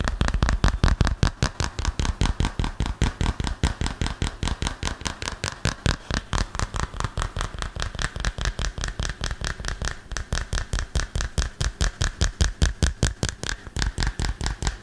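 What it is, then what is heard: Smartphone in plastic case. A hand-sized, flat, solid smartphone in a dark green plastic case is held close to the mic and tapped quickly and firmly with fingertips and nails. About 72 short, dry taps land in a fast, slightly uneven stream, each a deep, close thud with a brief bright click on top that dies away almost instantly.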